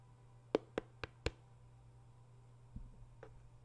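Fingertips of one hand tap the top of a small, pale white cardboard box, likely hollow, standing on a surface beside the microphone. Four quick, dry, hollow taps with a mid-pitched knock die away almost instantly. After a pause come a couple of softer, duller touches and one final sharp tap, all over a faint, steady low hum.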